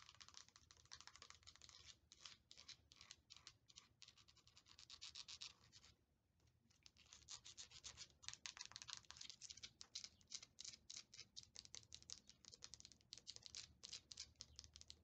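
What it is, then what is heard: Vinyl plastic toy figure. Long nails tap and scratch the hollow large head and body of a small Funko Pop-style Colossal Titan figure made of vinyl plastic, held in one hand. A steady run of quick, dry, bright scratching clicks continues with a brief quiet pause around the middle.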